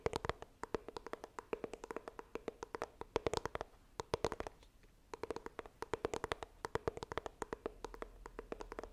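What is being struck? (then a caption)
Small coated cardboard box. Long nails tap the front of a small, hollow white iPhone retail box made of coated cardboard, held upright. The taps come in quick, irregular runs of short, dry clicks with a hollow tone around 445 Hz and a bright edge. There is a brief pause midway before the tapping resumes.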